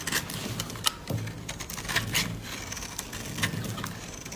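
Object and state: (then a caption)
Dry bar soap being scraped. A utility-knife blade cuts into a solid pink dry bar of soap held in the palm, scraping off flakes. The cuts make a string of crisp, bright crackles and dry scratches, with short sharp snaps and a faint low hum underneath.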